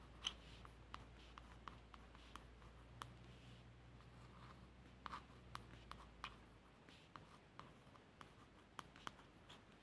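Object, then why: Laminated cardboard hardcover book cover. Soft, dry fingernail scratching with scattered sharp little ticks across a smooth, stiff laminated book cover.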